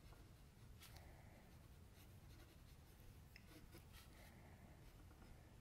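A metal mechanical pencil tip scratches continuous lines and shading along the forehead and hairline of a sketch on a flat white sheet of drawing paper resting on a table, held steady by the left hand. The sound is a quiet, steady scratching with faint bright strokes over a dominant low hum.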